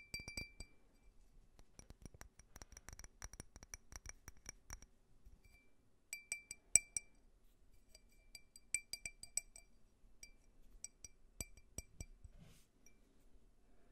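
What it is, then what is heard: Faceted glass tumbler. A small, clear, faceted glass tumbler, empty and held sideways, is tapped with fingernails in quick bursts. Each tap gives a short, bright glassy clink with a high ring that dies away almost at once. The taps come in clusters of rapid ticking and a few louder clinks, all at a soft overall level.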